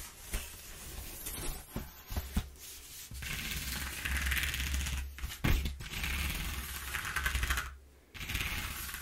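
Long nails scratch along the exposed ridges of a single-face corrugated cardboard sheet as the sheet is flexed, making a dry, bright rasping with scattered sharp clicks and crackles. Steady scratching passages alternate with brief pauses over a constant low hum.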